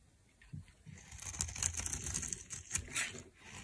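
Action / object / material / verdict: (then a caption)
scrape / soap bar scraped with a metal knife / soap / none. A metal knife scrapes shavings off the side of a dry, solid cream rectangular soap bar held in the hand. Quick, irregular strokes make dry, crunchy, crinkling scrapes with a bright hiss and a soft low thump underneath. The sound starts faintly and builds into a dense run of scraping.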